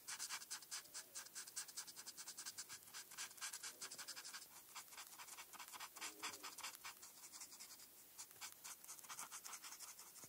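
A felt-tip marker scratches back and forth across a flat paper coloring page while coloring in a star. The result is a quiet, steady run of bright, dry scratching strokes with an irregular rhythm and no low-end body.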